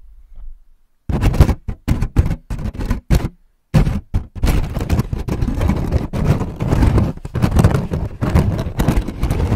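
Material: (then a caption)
Aluminium foil. Fingertips scratch and rub a thin sheet of crumpled aluminium foil wrapped in a hollow dome over the top of a microphone grille. After a quiet start, short separate crinkling bursts give way to dense, continuous rubbing. The sound is close and heavy in the low end, with sharp attacks that die away almost instantly.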